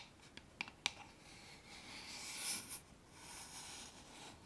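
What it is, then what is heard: Wooden box tapped and scratched with nails. A small, dark, hollow wooden box with a metal clasp is held up in the hands and tapped and scratched on its lid and sides with long painted nails. Three quick, bright taps come first, followed by soft, high, hissing scratching strokes that swell and fade over the remaining few seconds.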